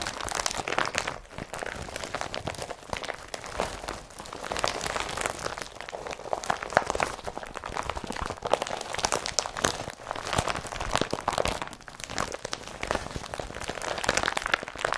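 An empty blue IKEA BRATTBY carrier bag made of woven polypropylene is balled up and crumpled with both hands. It gives a dense, continuous crinkling and crunching with a papery midrange and bright, crisp texture, swelling and easing in steady waves throughout.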